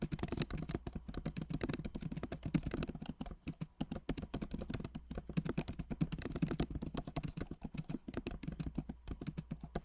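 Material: Plastic.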